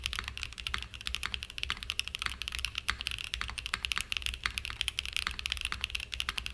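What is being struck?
Aluminium-cased mechanical keyboard with plastic keycaps.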